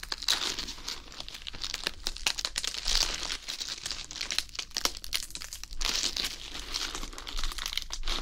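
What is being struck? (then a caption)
Iceberg lettuce head. A whole fresh iceberg lettuce head is held in both hands while fingers rub and squeeze its outer leaves right next to the microphone. The result is a continuous, bright, crisp crinkling and crackling that comes in louder waves over about eight seconds.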